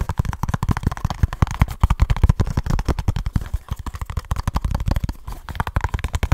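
Fingertips and short nails rapidly tap and scratch a small kraft cardboard box with a barcode sticker close up. The result is a fast, dense stream of dry, hollow thuds with a deep low-end punch and quick scratchy rustles between them, each hit dying away almost instantly.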